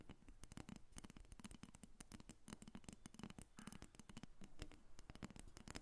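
Long red nails tap and scratch along the back of a solid carved wooden dolphin figurine resting on a glass table. A quiet, rapid stream of short, dry clicks cuts off almost instantly, with a thin, bright scratchy texture between the taps.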